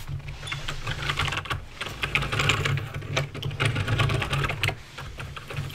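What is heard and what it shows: Fingertips type rapidly on a backlit mechanical keyboard with plastic keycaps and clicky switches, producing a dense stream of sharp, bright clicks. Beneath the clicks sits a steady low hum that stays constant throughout.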